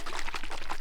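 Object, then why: Makeup setting spray bottle. A long-lasting ultra matte makeup setting spray bottle, All Nighter, is shaken before use. The liquid inside sloshes in a quick run of about seven low, rhythmic splashes.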